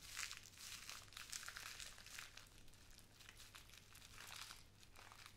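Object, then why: Small plastic bag of glass seed beads. A small clear plastic bag with a white cardboard header, full of pink glass seed beads, is held in both hands and crinkled, squeezed and shaken with long nails and fingertips. The result is a continuous, bright, crisp crinkling with rustling surges that rise and fall in waves, over a faint steady low hum.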